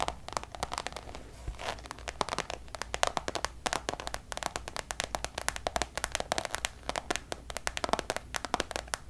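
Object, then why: Coated canvas pouch. Long nails tap and scratch across the face of a checkered coated-canvas Louis Vuitton designer pouch. Quick, sharp, dry clicks come in steady irregular bursts, mixed with soft bright scratching. A faint low hum runs underneath throughout.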